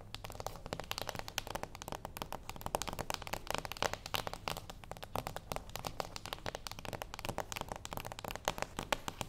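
Long acrylic nails on both hands tap and lightly scratch the top of a small, flat, closed cardboard gift box lying on a wooden table. The result is a steady stream of rapid, dry, crisp clicks and crinkly scratches that die away almost instantly, with a bright hollow papery tone over a faint low hum.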